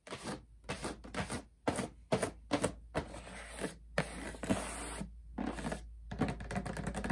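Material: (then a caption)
Cardboard. Hands handle the edges of a closed marble-print cardboard shoebox lid, then a long-nailed fingertip taps and scratches its printed cardboard top. Short, dry, dull taps come in quick bursts with no ring, broken by longer stretches of steady papery scratching. A run of rapid light tapping follows at the end.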